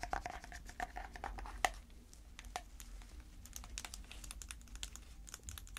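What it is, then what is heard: Plastic slime container. Long red fake nails, sticking out past white latex gloves, tap and scratch a small round clear plastic tub with a printed lid that is full of dark slime. Quick, light plastic clicks come first, some with a short ringing tone near 730 Hz and one sharper tap. They then give way to softer, bright scratching and ticking over a low background hum.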